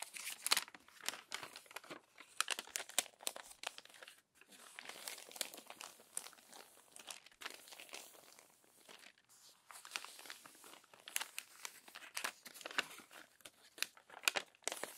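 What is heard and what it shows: An open glossy paper magazine has its crumpled pages unfolded, smoothed and turned by fingertips. Bright, dense crinkling and rustling come in bursts, with sharp crackles and brief quieter gaps, and nothing in the low end.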